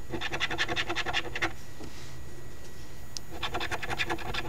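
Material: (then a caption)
Cardstock. A coin held in the fingertips scratches the remaining latex areas off a flat cardstock $5 Ontario Lottery OLG "Very Merry Multiplier" instant scratch ticket (#2465). Quick, raspy back-and-forth scraping strokes run for about a second and a half, stop for a quiet pause, then pick up again toward the end.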